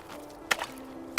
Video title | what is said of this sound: Ray Mears Northern Wilderness S01E04 | the ice sounds like glass